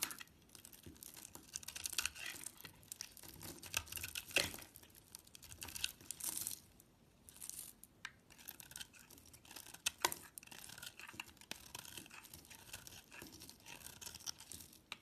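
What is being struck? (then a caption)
Solid bar of soap scraped with a knife blade. A utility knife blade scrapes the blue speckled coating off a solid oval bar of soap held in the hand, shaving into its cream core. Steady bursts of dry, bright, crinkly scraping and shaving rasps sound close up, with brief quiet gaps between strokes.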